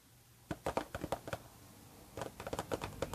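Long red-painted nails tap a closed pink Harajuku Lovers paperboard perfume box standing upright on a blanket. About 14 soft, hollow, dull taps come in two quick bursts separated by a short pause, and each tap dies away almost at once.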